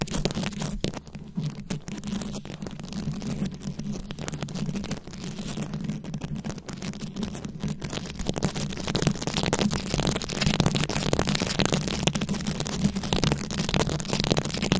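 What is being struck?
Microphone head covered in glued-on rhinestones, scratched with long nails.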